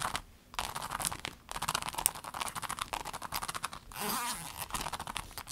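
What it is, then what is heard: Clear vinyl pencil case. Long nails rapidly tap and scratch a rainbow clear vinyl pencil case, making dense, bright, crackly clicks with quick scraping. The case is then lifted with a soft crinkling rustle before the tapping resumes.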